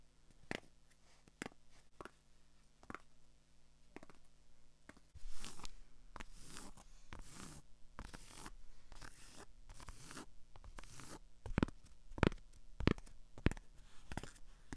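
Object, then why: Cotton baseball cap with plastic sticker on the brim. Long acrylic nails tap and scratch the holographic sticker on the brim of a hollow white cotton baseball cap held up in the air. Sparse, soft taps give way to bursts of dry, bright scratching and rustling. The clip ends with a few sharper, louder taps.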